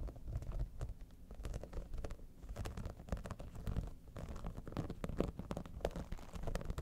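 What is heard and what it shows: Long nails scratch and tap the top and the side near the edge of a hollow holographic vinyl cosmetic bag, an iridescent dimpled synthetic pouch. The result is a quiet, continuous rustling scratch with a dense patter of short, dry clicks and a low, hollow body.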